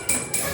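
A drinking glass is struck twice, each tap giving a bright, high ringing tone that fades quickly. The glass sounds clear and ringing.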